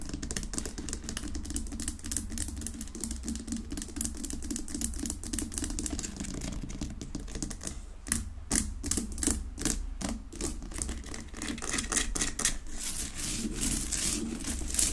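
Long nails rapidly tap and scratch the rough surface of a large, solid pink Himalayan rock-salt lamp resting unlit on a wooden base. The result is a dense stream of sharp, dry clicks and gritty scrapes over a steady low hum, growing louder and busier in the second half.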